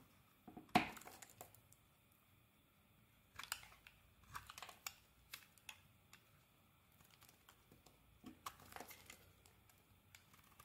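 A metal blade scrapes and carves slices off a solid red and white bar of soap. The sound comes as short, crisp scraping and crinkling bursts, loudest at the start. Quiet pauses separate the bursts, and each dies away almost at once with little low end.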